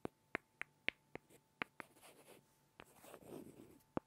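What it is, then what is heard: Pair of small wooden blocks. Two small solid light-wood blocks are tapped and rubbed together by hand, giving nine sharp, dry, bright clicks with almost no ring. Between the taps come soft scraping rubs of wood on wood, and the whole clip is quiet.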